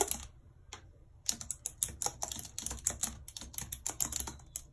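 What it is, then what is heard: Plastic computer keyboard typed on with long nails. Long red nails tap the keys of a white plastic computer keyboard in quick, continuous typing. A couple of taps start the clip, then a short pause, then a steady run of sharp, bright plastic clicks with very little ring.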